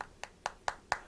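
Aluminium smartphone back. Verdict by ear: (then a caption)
Solid. Four quick taps on the solid aluminium back of an original HTC One M7 smartphone. Each gives a short, bright click with very little ring. As expected for the genuine phone, it sounds like a solid piece of aluminium, unlike the plastic-backed clone.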